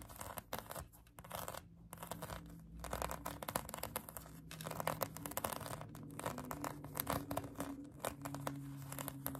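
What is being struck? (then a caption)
Polyurethane foam donut toy. Long acrylic nails scratch a pink polyurethane foam donut squishy toy, making dense, dry scratching and crinkling bursts that flicker across a bright, hissy range. A faint steady low hum runs underneath throughout.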